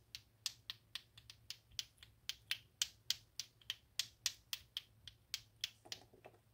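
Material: Plastic.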